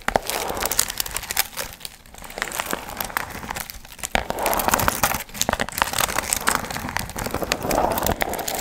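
Long nails scratch and crinkle the gold foil fringe on a medium hollow paper pumpkin piñata. The result is a steady run of dense, bright crinkling and crackling, with brief quieter dips around two and four seconds.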